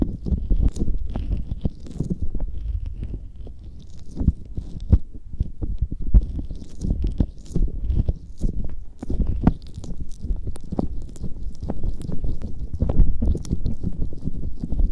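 Fingers squeeze, rub and poke aloe gel on the soft, hollow silicone ear covers of a binaural microphone, close to the ear canals. The result is a dense, continuous stream of deep, muffled squelching thumps and wet rustles, with faint bright crackles above.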